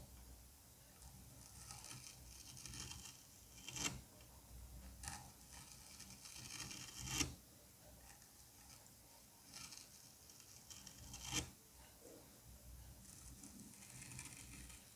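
A curette scrapes ridges into the surface of a solid dome of green kinetic sand, making soft, gritty, bright rasping strokes at an uneven pace. A few strokes stand out louder and sharper than the rest before the scraping settles back to a quiet hiss.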